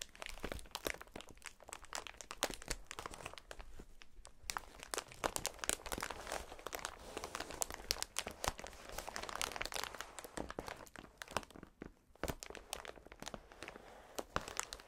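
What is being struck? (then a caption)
Polyethylene air cushion packaging strip. A bunched, clear polyethylene strip of air-filled packaging cushions is pressed against the chest and squeezed by a gloved hand. It makes a dense, continuous run of bright, crisp crinkles and crackles from the film, with only brief lulls near the 4- and 12-second marks. The snaps are sharp and dry, dying away almost instantly.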